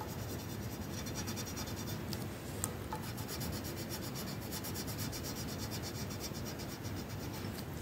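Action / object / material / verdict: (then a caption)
scrape / wooden colored pencil on a paper sheet / paper / none. A yellow wooden colored pencil is rubbed in fast back-and-forth strokes across a flat paper coloring sheet. It makes a steady, dense scratching and rasping texture with a low, grainy body and bright scratchy edges. The level stays even throughout, with one brief sharper tick partway through.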